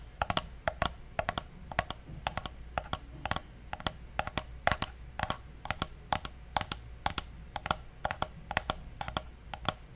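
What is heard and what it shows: Fingertips click and tap the side buttons of a small, hollow, black plastic gaming mouse, making a steady run of quick, sharp clicks over ten seconds. Each click is dry and brief with a bright edge and a hollow tone near 700 Hz. A faint low hum sits underneath.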